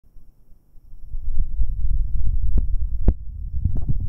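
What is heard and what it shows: Fingertips in rubber finger cots rub and tap twin metal binaural microphone capsules with red rings on a dark mount. Quiet at first, the sound builds into a dense, deep rumbling thump, with a few sharp taps flicking up bright above the low rustle.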